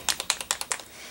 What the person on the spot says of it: You can hear the little ball in there that will get it all mixed up